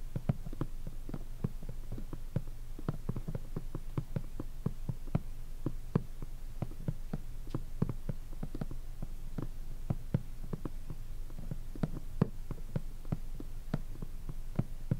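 Long fingernails of both hands tap rapidly on the flat crown of a hollow Napoleonic shako's black, glossy hardened-leather top. The result is a quick, uneven stream of short, dry clicks with no ring, over a faint low hum.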